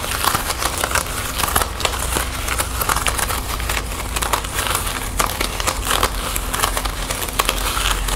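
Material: Plastic.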